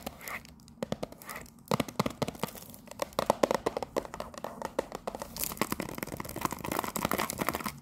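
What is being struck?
Cellophane-wrapped cardboard tea box.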